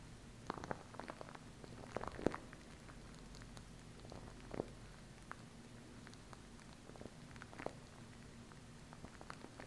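Long nails tap and scratch the tube of a small plastic glue stick with a red cap and purple base. Quiet, sharp, short clicks and light scratches are scattered across the clip over a faint, steady low hum, each tap dying away almost instantly.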